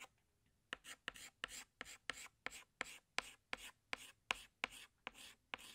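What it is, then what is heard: Chalk scratching on a chalkboard. A hand scratches a green chalk stick across a large flat black chalkboard in short strokes while drawing leaves. Each stroke starts with a sharp tap and turns into a bright, dry scrape, with brief pauses between them and almost no low end. The strokes repeat at a steady but uneven pace throughout the clip.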